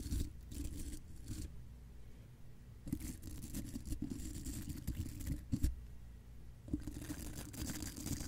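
The bristles of a small spoolie brush, held in the fingertips, brush and scratch across the large hollow steel mesh grille of a condenser microphone. Bursts of close, muffled scratching come with a deep low rumble and brief bright hissy rasps. The bursts are separated by quieter pauses.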